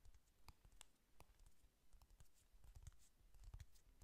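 Fingernails tap and click quickly on the surface of a closed, flat pink "Honey Lust" eyeshadow palette with a cardboard cover. The quiet, irregular taps are dull and low, with short bright clicks on top, and each one dies away almost at once.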